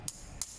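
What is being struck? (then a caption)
Screwdriver back end, metal cap. The iron-capped back end of a screwdriver made to be struck is tapped twice, giving two short, bright metallic knocks that die away almost instantly. An iron back end is considered best, compared with hard or soft rubber or plastic ones.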